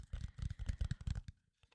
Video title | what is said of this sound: ASMR - Tapping my nerdy Stuff | you can really hear like the FDM part because like laying down every single layer in like a streak